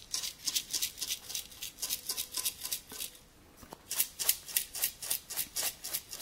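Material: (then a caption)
Tin. A small, round printed tin candle container with a white-and-grey diamond-patterned exterior and a teal lid is held in the hand and scratched and tapped with fingernails along its side and lid. The result is a quick series of short, bright, crisp scratchy taps that stop briefly midway, then resume at a steady pace.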